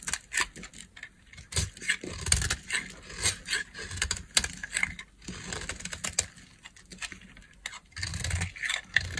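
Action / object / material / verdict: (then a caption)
scrape / bar of soap carved with a knife blade / soap / none. A solid light blue bar of dry soap, held in the hand, is scraped and carved with a utility knife blade. Crisp, dry scraping and crackling strokes come in quick uneven bursts, bright and hissy with a faint low thump under some cuts. Each stroke stops dead with no ring.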